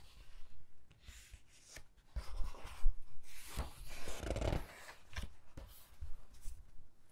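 Fingertips with long nails rub over the text pages of an open hardcover book with glossy paper and flip its pages. Soft, quiet papery swishes and rustles come in uneven bursts over a dull, low-pitched handling rumble, with a few louder page-turn surges in the middle.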